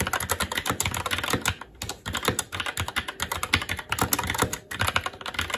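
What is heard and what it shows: Fingertips of both hands type continuously on a SteelSeries Apex 7 TKL mechanical keyboard with Red switches, black plastic keycaps on a metal plate, and a hollow RGB-backlit case resting on a desk. A rapid, uneven stream of short, sharp, bright clacks runs throughout, with quick decays and brief lulls near 1.7 and 4.6 seconds.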